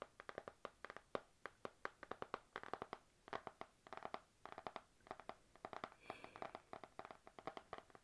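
Long nails tap rapidly on the glossy laminated card cover of a panda-print spiral notebook backed by a solid stack of paper. The sound is a quiet stream of short, dry, clicky taps in uneven rhythmic bursts, with almost no ring and no low end.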